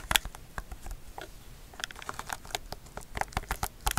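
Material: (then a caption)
Plastic. A black, hollow, hand-sized plastic TV remote with rubber buttons is held upright in front of the mic and tapped and scratched with long fingernails across the button face. Quick, dry clicks and soft scratches patter irregularly, with bright, sharp attacks that stop almost instantly, over a faint low hiss.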